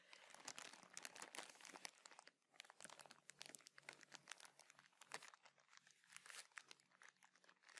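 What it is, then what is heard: Crinkled plastic bag of cotton pads. A soft, clear plastic bag of makeup remover pads with a teal label is held in the hands and crinkled and scratched with fingers and nails. The result is quiet, dense, bright crinkling and crackling with sharp snaps scattered throughout, and a brief lull just after two seconds.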